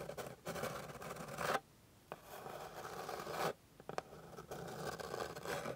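Long pink acrylic nails, with the fingertips pressed down, scratch across a flat, light wooden board with fine grain. Long, dry, rasping strokes centered in the midrange are separated by brief near-silent pauses, with a few sharp ticks in between.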